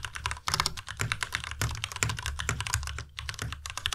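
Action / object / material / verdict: tap / plastic mechanical keyboard / plastic / none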